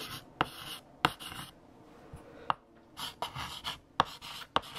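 A hand writes with lavender chalk on a large flat black chalkboard. Bright, dry scratching strokes alternate with seven short, sharp taps of the chalk against the board, each dying away almost instantly.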